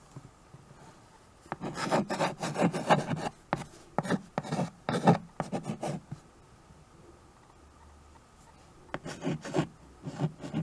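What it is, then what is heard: Chalk writing on a chalkboard. A white chalk stick writes and scratches across the surface of a small tabletop chalkboard, a dark painted board in a wood-look frame. Clusters of short, dry, raspy chalk strokes come in quick bursts, pause in near silence for a few seconds, then resume. The scratches are mostly low and mid in tone with no ringing after each stroke.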